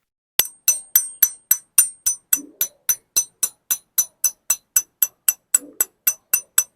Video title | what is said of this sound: Speedone Sniper Hub Bakit nga ba napaka ingay - #patscyclecorner | yung hub niya, tumitigil agad yung tunog. Kaya nagiging low pitch.